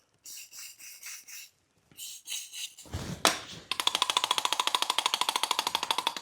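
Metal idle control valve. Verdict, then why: Free. A cleaned metal idle control valve from a BMW, probably stuck from long standing, is shaken by hand. Short bursts of rattling give way to a fast, steady run of bright metallic clicks. The valve now moves freely and is working again.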